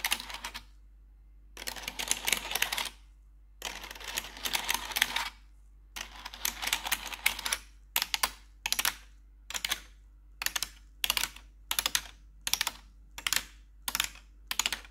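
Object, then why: Plastic computer keyboard keys. Metal claw nails on gloved fingers tap and scratch the keys of a black plastic RGB computer keyboard, producing bright, crisp clicking and clattering. Long bursts of rapid tapping alternate with short pauses, then give way to a steady series of brief, evenly spaced clusters, all over a faint low hum.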